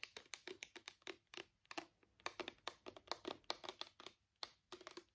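Fingertips and nails tap a small travel-size plastic bottle of purple micellar water with a white cap, partly full, in a rapid typing-like pattern. About 27 quick, dry plastic taps and clicks come in uneven bursts, each with a bright, sharp edge over a hollow body near 600 Hz and almost no ring.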